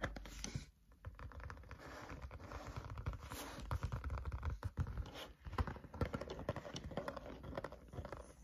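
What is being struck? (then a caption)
Paper spiral notebook with card cover. Fingertips tap rhythmically on the top cover of a thick green-covered spiral notebook lying flat on a table over its solid paper stack. The taps are quick, dull, low thuds with almost no ring, mixed with a light scratchy rustle and a steady run of soft hits throughout.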